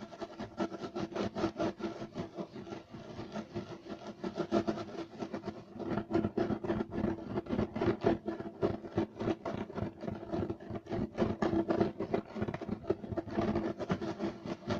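Clawed fingers with short nails scratch quickly and roughly across the weave of a flat, solid, beige striped loop-pile carpet. The result is a dense, uneven run of short, dry rasping strokes, each fading almost at once, with the body of the sound sitting in the low-mid range and little brightness on top.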